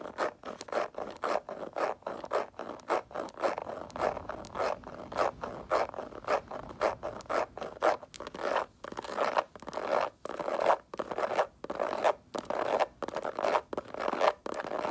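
Fingernails scratch the textured sides of a small, hollow snakeskin-print faux leather mini handbag held in both hands. Quick, irregular bursts of dry, raspy scratching repeat throughout, centered in the midrange with almost no low end. Each stroke stops short with no ring.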